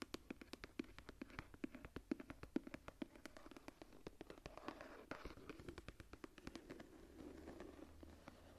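Long nails tap and scratch the embossed floral cover of a closed, tooled leather journal as it is held and then set down. Rapid, sharp, dry clicks with a soft, woody low-mid body ring out and die at once, interspersed with quiet scratchy rustling across the textured surface.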